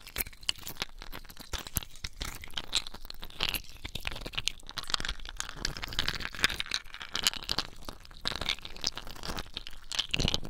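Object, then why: Ice cubes. Small, clear, solid ice cubes are held in both wet bare hands over a basin of water and rubbed and clinked together in the palms and fingertips. The result is a dense, continuous stream of bright crunching, crinkling and sharp clicking that stops abruptly with no ring, plus a low wet rumble underneath.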